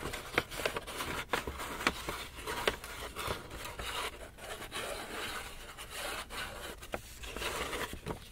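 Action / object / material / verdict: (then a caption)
tap / paper shopping bag / paper / none. Fingertips and nails tap and scratch the front face of a medium-sized black Lush paper gift bag, held upright in both hands and hollow and apparently empty. Sharp, papery taps punctuate a steady bright crinkling, scraping rustle with only a little low end.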